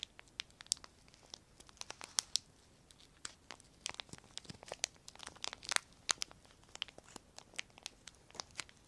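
A small piece of semi-thick clear plastic film, thin and flexible, is held in both hands above a wooden table and crinkled and torn between the fingertips. Quick, sharp, bright crackles and snaps come in irregular bursts over a quiet background, each dying away almost instantly with almost no low end.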